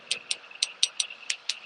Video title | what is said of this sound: I broke my nail; Doing Acrylic Nails At Home! Live with Nailed You! | How do you know if your nail is dry? You tap it and you hear the clackity clack sound.